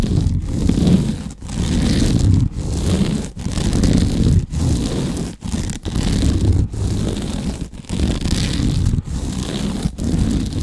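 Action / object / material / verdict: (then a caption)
scrape / sisal rope scratching post / sisal rope / none. Fingernails scratch along a large cylindrical cat scratching post wrapped in woven natural sisal/jute rope, held in the arms. The result is steady, rough, rustling scrapes that are heavy in the low range, coming in repeated strokes with brief pauses between them.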